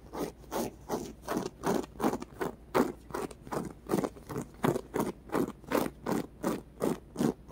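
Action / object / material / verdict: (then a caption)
scrape / polyurethane foam squishy toy / polyurethane foam / none. Painted fingernails scratch a small, solid white polyurethane foam squishy block with rainbow stripes and colored dots, held in both hands. A steady run of soft, dry scraping strokes comes at roughly two to three per second, each a brief low-mid rasp with almost no ring.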